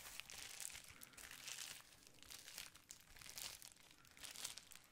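Clear plastic bubble wrap is squeezed and rubbed with the fingers, then held close to the camera. The result is quiet, bright, continuous crinkling that swells and fades in uneven waves, with a few sharper crackles and almost no low end.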